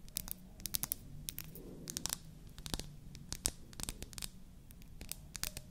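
Long nails tap and scratch a small, solid, white-painted wooden toy foundation bottle with a natural wood cap, held in one hand. Rapid, sharp, bright clicks and dry scratchy crackles scatter over a quiet, low background hum. Each tap dies away almost instantly.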